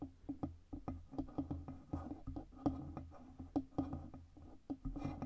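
Long red nails tap the sides and stand of a black Blue Yeti USB microphone, with its hollow metal body and stand. A quick, uneven run of light taps gives short, dull knocks with a hollow midrange ring and a soft low thump beneath, each dying away almost at once.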